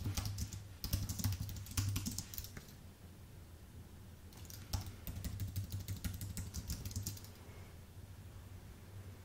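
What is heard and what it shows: Fingertips type on a white, full-size Apple Magic Keyboard with plastic keycaps on an aluminium base. Bursts of quick, irregular key clicks with a dull low thump under them give way to a quieter stretch around the middle, then the typing picks up again and trails off.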